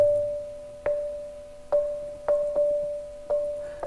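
A large hand-shaped rock in a cave on Mo So mountain is knocked five times. Each strike gives a clear, bell-like ring near 590 Hz that fades over about half a second. This spot rings, unlike a nearby spot on the rock that sounds dull.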